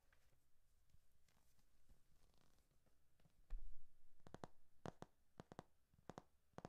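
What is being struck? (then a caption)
Hardcover paper textbook. Fingertips and nails tap and scratch the glossy back cover of a thick hardcover textbook with a solid paper block. Quiet, soft scratching comes first, then a dull low thump, followed by a run of sharp, dry, bright taps that stop almost instantly.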